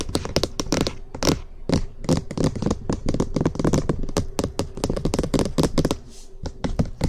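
Fingertips and nails tap and scratch quickly and hard on the top and edges of a hollow cream plastic SR3D binaural microphone housing. The result is a dense stream of hollow, thumpy plastic knocks with crisp clicks and brief scratchy rustles, each dying away almost at once.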